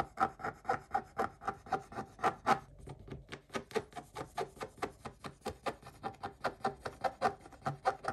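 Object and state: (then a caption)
Scratch-off coated paper scraped with a wooden stick. A wooden stick scrapes the coating off a scratch-off coated paper page in about 35 quick, rhythmic strokes. Each stroke is a short dry rasp with a thin tonal squeak near 780 Hz and a bright, hissy edge. The strokes are strongest in the first few seconds, then turn softer and more even.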